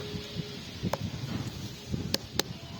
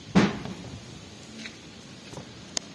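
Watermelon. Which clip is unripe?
The first.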